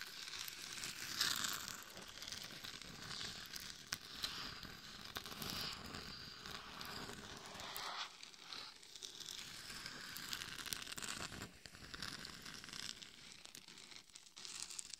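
Long nails scratch the sides and top of a glitter-covered hollow mannequin head fitted as a microphone. The result is a steady, bright, crackling scrape with little low end that eases slightly around the middle of the clip before continuing.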